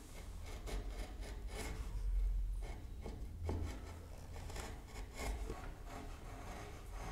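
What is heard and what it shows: A hollow hardwood toy car body is marked with a pencil, then a steel chisel held by the fingertips pares and scratches along its edges and grooves. The result is a steady run of dry rubbing and scraping strokes over a heavy low rumble, with a few slightly louder passes.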